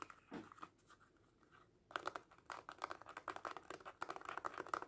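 Fingertips and short nails rapidly tap and scratch a small red faux leather cat coin purse held mostly covered by both hands. Soft scattered taps in the first two seconds give way to a denser, louder run of crisp, dry clicks and scratchy rustles centered around 1.3 kHz, each dying away almost instantly.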